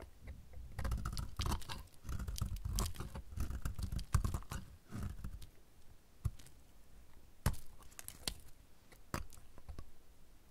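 A utility knife blade shaves the solid, shrinking remaining piece of a pink-red dry soap bar, producing crunchy flakes. Dense, dry crunching and scraping fill the first five seconds, then thin out into sparser, sharp crackles and snaps, each a brief bright crack with little ring. The sound is mostly low and muffled, with short bursts reaching high.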